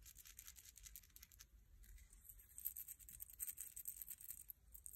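A single bleached, palm-sized dried sand dollar shell, thin, flat and rigid with a calcium carbonate skeleton, is held in one hand and scratched rapidly with fingertips and short nails. The result is quiet, continuous, bristly scratching and tapping with crisp high-frequency detail over a low background rumble.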